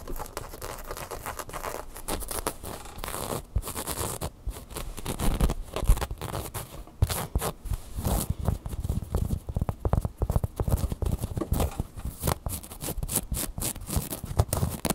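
A large red Angry Birds plush, soft fabric over solid stuffing, is scratched with long fingernails across its fabric and felt eyes. The result is a steady stream of dense, rapid, dry scratching and light patter that sits mostly low and muffled. Brief louder scrapes stand out throughout.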